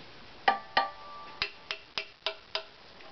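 An assembled hollow wooden violin body, back and ribs with no neck, is held up in one hand and tapped seven times with the fingertips of the other. Each tap gives a short, woody knock with a brief pitched ring. The first two taps are louder with a tone near 790 Hz, and the later taps sound lower and duller.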